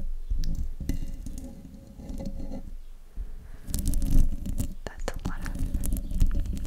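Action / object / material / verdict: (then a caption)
scrape / metal mesh microphone grille / metal mesh / none. Long nails scratch and tap the hollow metal mesh grille of a silver desktop microphone. The result is a dense, low, rumbling scrape with muffled thuds and quick bright clicking taps. It grows busier and louder in the second half.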